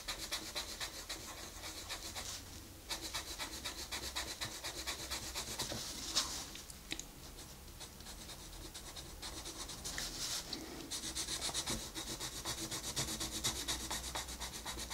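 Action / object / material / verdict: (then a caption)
scrape / wooden colored pencil on a paper page / paper / none. A wooden colored pencil rubs and scratches across a flat paper coloring book page in continuous shading strokes. The result is a steady, bright, papery scratching texture with rapid, loosely regular back-and-forth strokes. A low hum sits beneath it.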